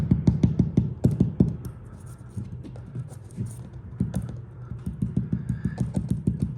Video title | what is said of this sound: Don’t Remove Your Wallpaper! - Spencer Colgan | that's because it's loose up here that's because the moisture has entered the room